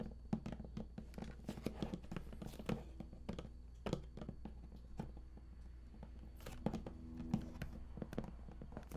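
Fingertips tap and rub on the raised lid panel of a large, hollow, printed cardboard collector's edition game box. Quick, dull, hollow thunks with almost no ring are interspersed with soft scratchy rubbing. Everything sits over a steady low hum.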